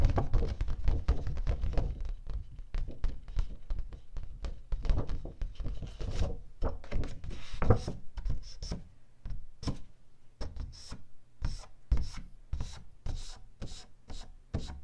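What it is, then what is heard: Cardstock sheet tapped with nails. A single thin, flat sheet of light teal cardstock held upright is tapped and drummed by long pink-painted nails and fingertips. The result is a dense run of soft, low, dull thunks with brief bright clicks mixed in. It starts busy and thins into more spaced-out taps toward the end.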